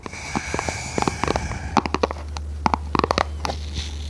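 Long red nails tap and scratch a small, hollow, red printed cardboard product box held horizontally in both hands. Many sharp, dry clicks and brief scratchy scrapes fall irregularly over a low steady hum. Each tap dies away almost instantly.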